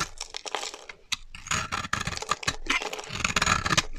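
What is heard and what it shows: A solid pink rectangular bar of dry soap stamped "BERRY" is held in one hand and scraped and shaved with a black-handled blade, letting curls and powder of soap fall onto the pile below. Dense, dry crunchy scraping and crackly shaving strokes follow one another quickly with bright, hissy texture and short pauses between passes.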